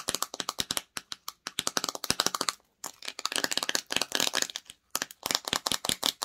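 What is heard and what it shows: Long nails tap and scratch the sides, paper label and clear lid of a small clear plastic jar filled with red peach slime. Rapid, bright, dry clicks come in quick bursts with very short ring and almost no low end. A denser, crackly scratching stretch sits in the middle, with brief silent pauses between runs.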